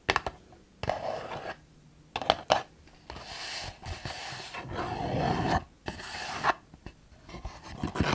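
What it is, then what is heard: Cardboard box scratched and tapped. Long nails scratch and tap the sides of a printed, hand-sized hexagonal cardboard My Jolie Candle gift box, held in both hands with its lid flaps partly open. Short, sharp taps alternate with longer raspy, rubbing scratch strokes that carry a bright hiss, separated by quiet pauses. The taps have a dry, papery knock with almost no ring.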